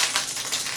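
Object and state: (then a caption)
Plastic egg with jingling contents. A plastic egg filled with small items is shaken, producing a bright, continuous jingling rattle that is concentrated in the high frequencies. The shaking lasts the full 0.8 seconds, with slight surges in loudness, as part of a sound-matching game.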